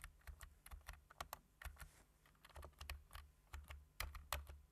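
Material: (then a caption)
Plastic. Fingertips of hands wearing rings type on a plastic computer keyboard with black plastic keys, tapping the keys. The result is a quick, uneven run of short, crisp clicks, each dying away almost instantly, over a steady low hum.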